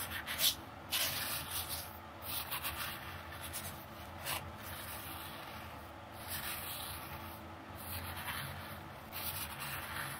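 A long, dark-painted fingernail drags and scratches through fine red coloured sand filling a small, round clear plastic dish. The sound is a soft, continuous gritty rubbing with a bright, hissy texture that swells and fades in gentle waves. It stays quiet throughout, with a low hum underneath.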